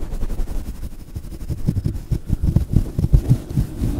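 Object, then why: Synthetic fur microphone windscreen. A fluffy grey-white faux fur windscreen on a small microphone is squeezed, rubbed and scratched with the fingertips of both hands. This produces deep, muffled rumbling and soft thumps with almost no high end. The bumps grow denser and heavier in the second half.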